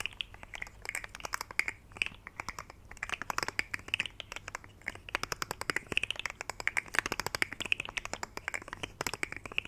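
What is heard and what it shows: A rainbow, segmented plastic fidget slug toy, bent into a curve, is flexed and rubbed with fingertips close to the mic. Its segments give rapid, dry, bright clicks with a soft crinkly rustle underneath. The clicks come in uneven bursts for about ten seconds and stop instantly with no ring.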